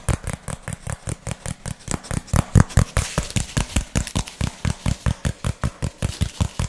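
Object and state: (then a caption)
Cardboard sheet. A flat, brown, textured cardboard piece about the size of a hand is held in both hands while fingertips and nails tap and scratch it quickly. About 35 dry, thumpy taps land in an uneven rhythm, with a brief bright scratchy rasp partway through. Each tap dies away almost instantly.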